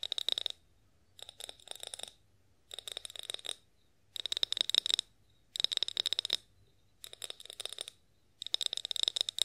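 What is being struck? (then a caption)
Glass oil bottle. Long acrylic nails tap a clear glass olive oil bottle with a spout, held tilted in one hand. The tapping comes in seven quick bursts of rapid, bright clicks with a high glassy ping, each burst separated by short silences.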